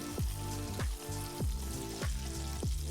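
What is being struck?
Nothing is struck.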